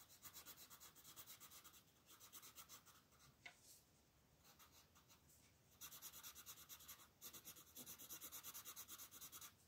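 A red colored pencil held in a hand rubs and scratches back and forth across the thin paper page of an open coloring book lying flat on a table, shading a crab drawing. Quiet, bright, scratchy strokes come in rapid rhythmic bursts, easing into a softer, sparser stretch in the middle before growing louder and faster again toward the end.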